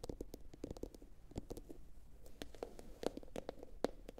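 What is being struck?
Upturned glazed ceramic bowl.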